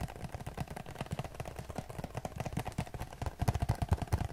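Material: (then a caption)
Cardboard. Fingertips tap rapidly across the front face of a hand-sized printed cardboard Q-tips box, likely hollow with cotton swabs inside, held close to the camera. The taps land as a quick, uneven run of short, dull, low thumps with almost no ring, growing louder toward the end.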